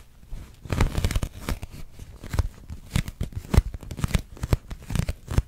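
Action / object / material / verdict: tap / thin plastic dome / plastic / none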